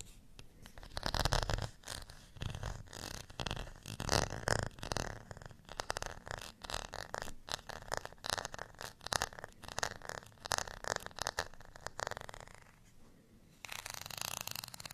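Fingernails scratch along the ridged surface of a beige textured plastic rice paddle held in both hands. The result is a rapid series of dry, raspy scratching bursts with a bright, broadband texture. The scratching dips briefly near the end, then returns as a steadier, hissy rasp.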